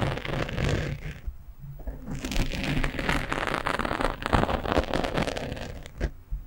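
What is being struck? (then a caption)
Foam microphone windscreen. Fingernails scratch quickly across the top of a black foam windscreen on a microphone, using one hand. The result is a dense, irregular, close-up rustle of scratchy crackles and soft bumps, heavy in low rumble with only faint high hiss, rising and falling in bursts.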